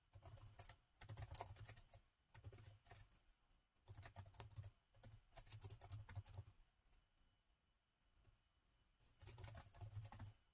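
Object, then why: Plastic laptop keyboard. Fingertips type rapidly with both hands on a plastic laptop keyboard set in a gold metal chassis. Quick bursts of soft, clicky keystrokes with a low thud and bright tick come in runs separated by short pauses, with a longer quiet stretch before a final burst.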